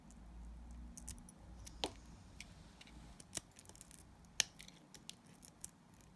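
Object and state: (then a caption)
Glycerin soap bar being scraped. A utility knife blade scrapes thin curls off a solid, translucent yellow glycerin soap bar. Quiet, crisp, bright scraping ticks and sharp snaps come at an irregular pace over a soft low hum. The loudest snap lands near the end.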